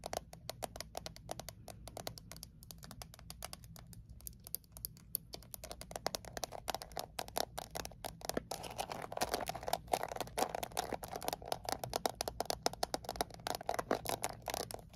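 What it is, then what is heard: Metal mint tin. Long nails tap rapidly on the lid and sides of a small Altoids peppermint tin made of thin painted metal. The result is a dense stream of short, bright, clicky ticks with almost no ring, over a faint steady low hum. After about 8 seconds the tapping grows louder and fuller, with a stronger hollow midrange tone around 700 Hz.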